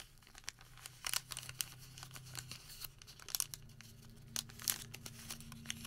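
A thin white thermal paper receipt is folded flat on a table, then gathered and crumpled with the fingertips of both hands. Bright, dry crinkling and sharp crackling bursts come and go over a faint, steady low hum.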